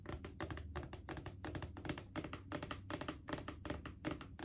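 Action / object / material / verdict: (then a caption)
tap / hollow plastic wipes canister / plastic / none. Long acrylic nails tap rapidly and unevenly on a Clorox disinfecting wipes canister, a mid-sized hollow plastic cylinder with a white plastic lid, held in the lap. Each tap is a short, dry click with a hollow low thump beneath it that dies away almost at once.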